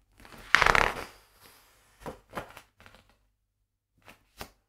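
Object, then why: Hardcover book with glossy paper pages. Fingertips turn and flip the glossy printed paper pages of a large hardcover illustrated book lying open on a wooden table. A loud, crisp crinkle of paper from one page turn comes first, followed by a series of short, softer papery rustles and flicks separated by quiet gaps.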